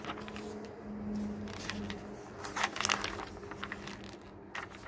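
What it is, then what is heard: Glossy paper catalog. Fingertips rub and press the pages of a glossy paper garden catalog lying on a wooden table, then turn them. Soft, papery brushing and crinkling give way to sharper, brighter crackles and swishes as the pages flip, over a faint steady low hum.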